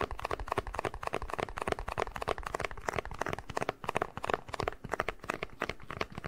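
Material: Plastic.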